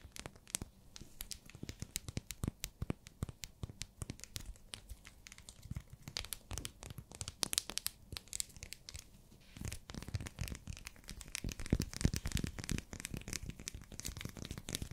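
Long nails tap and scratch a small, solid, pink translucent glycerin soap bar still in its plastic wrapper. Many quick, dry taps mix with crinkly, tearing-like scratches of the wrapping, each one very short. The tapping grows denser and more continuous in the last few seconds.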